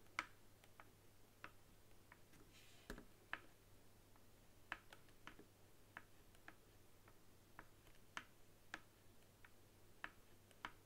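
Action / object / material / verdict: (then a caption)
tap / plastic game controller / plastic / none. A long nail taps on the touchpad of a white hollow plastic game controller standing upright on a table. It makes a series of quiet, irregularly spaced, short hollow clicks with a bright plastic edge, over a steady low hum.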